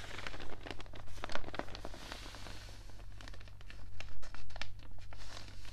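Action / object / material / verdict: scrape / newspaper pages, thin paper / paper / none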